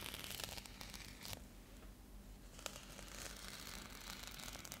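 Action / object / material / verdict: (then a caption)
scrape / foil bubble insulated mailer / metallic foil / none. Long nails scratch along the textured surface of a metallic foil bubble insulated mailer held upright. The result is a dense, bright, crinkly scratching texture with sharp ticks and rasps, easing into a quieter stretch near the middle before building again.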